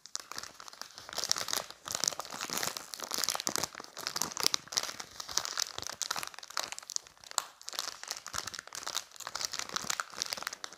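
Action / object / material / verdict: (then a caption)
scrape / thin plastic packaging bag / plastic / none. A clear, thin plastic retail bag holding a pink phone case with a keychain charm is held in both hands close to the microphone while fingers squeeze and rub it. The result is dense, bright, continuous crinkling with crisp crackles and almost no low end, rising and falling in short bursts for the whole clip.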